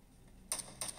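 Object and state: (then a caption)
Glass smartphone touchscreen. Two quick, bright taps ring out as gloved thumbs tap the glass touchscreen of an iPhone 13 Mini, a small, solid phone held sideways while gaming. Each crisp, high tap decays fast over a faint background hiss.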